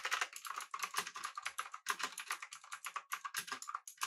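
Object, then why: Mechanical keyboard with round plastic keycaps. Fingertips of both hands type steadily on a full-size pink typewriter-style mechanical keyboard with an aluminum body and round plastic keycaps. The result is a rapid, continuous stream of sharp, bright clacks with a clicky tone around 1 kHz, almost no low end, and each keystroke dying away almost instantly.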